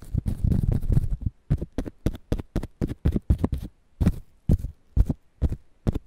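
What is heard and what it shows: Fingernails scratch and tap along the ribbed green husk of a whole fresh ear of corn held between foam microphones. A dense, continuous burst of scratching comes first, followed by a steady run of separate short, dull, low-pitched scrapes and taps with no ring.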